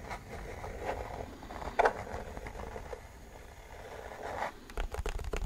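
Nails and fingertips scratch and tap the underside of a white plastic mechanical keyboard's hollow plastic case, near its label. Soft, dry scraping rustles run throughout with a hollow midrange tone around 480 Hz. There is one louder knock near the two-second mark and a cluster of quick, sharp taps at the end.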